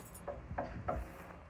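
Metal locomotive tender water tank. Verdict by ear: Hollow.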